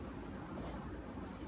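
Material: Nothing is struck.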